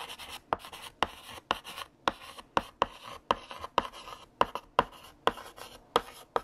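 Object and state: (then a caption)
Chalk writing on a blackboard. A stick of blue chalk, held in the fingertips, writes text across a large, solid, flat black painted chalkboard. Dry, gritty scratching strokes are punctuated by sharp, brief taps as the chalk strikes the board, with a bright squeaky edge around 1 kHz and almost no low end.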